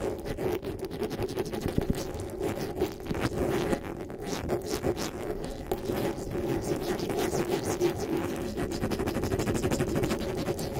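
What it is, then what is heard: Metal mesh microphone grille. Fingertips and nails rub and scratch the metal mesh grille of a black desktop microphone. The result is a dense, continuous run of close scratching and rustling, heavy in the low and middle range with a faint bright edge. It holds a steady level for about eleven seconds.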